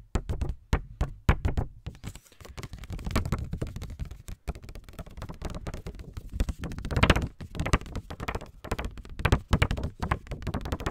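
A small pink paper index card pad, held in the hands, is tapped and scratched with fingertips and nails. Quick, dull, low taps with almost no ring come in rapid bursts, broken up by stretches of soft, rustling scratching.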